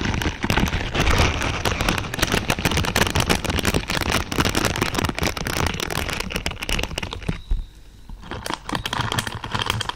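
Long purple nails scratch across a large lavender pad of thin, flexible plastic or silicone pins, making a dense, irregular crackle of rapid snapping ticks over a low rumble. The scratching runs almost continuously, dips briefly near the eight-second mark where a faint high tone lingers, then resumes.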